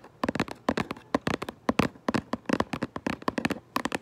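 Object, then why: Cardboard box. Long nails tap and scratch quickly on the front of a cardboard Lego box for Minecraft. Dense bursts of short, dry taps with a hollow, mid-pitched tone follow one another in quick clusters, each dying away almost instantly.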